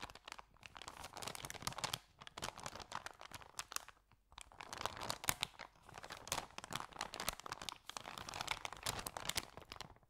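Hands hold an empty white paper Subway bag with yellow print while the fingers bend and crinkle its folded edges. The result is a steady stream of dry, bright, crunchy paper crackles in bursts, broken by short quiet pauses near 2, 4 and 8 seconds.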